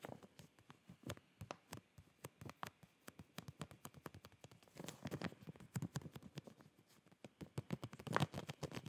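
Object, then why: Clear plastic zip bag with folded cloth inside. A clear plastic zip packaging bag filled with folded boxers is held in both hands while fingertips and nails scratch and tap the plastic. The result is quiet, crinkly scratching and rapid, short tapping, with a denser, busier stretch in the second half.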